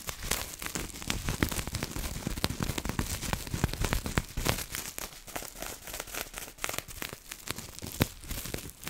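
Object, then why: Plastic bubble wrap. A piece of clear, air-filled plastic bubble wrap is scratched with long nails and crumpled by hands, making dense, continuous crinkling and crackling with many sharp clicks. The steady rustle carries bright hiss and a low rumble throughout, with a few louder snaps standing out, one near the end.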